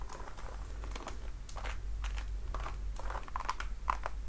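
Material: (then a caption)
Patent leather. Long dark nails tap and scratch the platform front and glossy upper of a red patent-leather platform high heel, with a thick block heel and buckled straps, worn on a foot. Short, bright clicks and scratchy rasps come in quick, irregular bursts centred near 1 kHz, each dying almost at once over a steady low hum.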